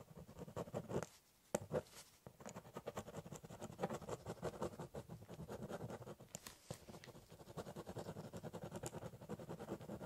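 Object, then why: Corrugated cardboard box and pen. A metal-barrel biro held in the fingers scratches and draws cross-hatching across the top of a large, flat, hollow corrugated cardboard box. Quick, dense strokes make a soft, dry, papery scratching with a hollow, low-mid body. The strokes run almost continuously, with a short pause near the start.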